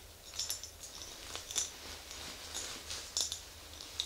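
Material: Glass.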